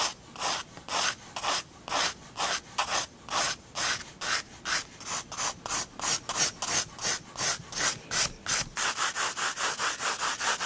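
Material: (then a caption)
Paper. A 4B graphite pencil held in the fingers draws lines on a large white spiral-bound sketchbook page lying flat on a wooden desk. About 26 short, bright scratching rubs sound in a steady back-and-forth rhythm, with the strokes coming quicker and closer together near the end.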